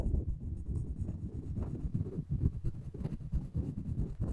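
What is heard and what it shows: The taut floss of a floss pick is drawn along the handle of a solid, light wooden spoon in a scratching motion. It makes a continuous run of quiet, dull, low rubbing scrapes with soft, uneven swells and no ring afterward.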